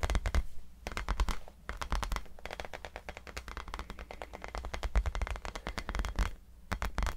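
A tiny rubber basketball is tapped rapidly and irregularly, producing dense, dry, clicky taps with a low thump underneath. The taps come in clusters separated by brief quieter gaps.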